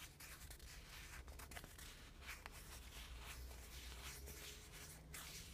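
A small, flat, shield-shaped printed cardboard car air freshener, thin and solid, is held in the hand and scratched with fingernails. Quiet, dry scratching and rubbing bursts sit over a steady low hum. Brief brighter scrapes stand out now and then.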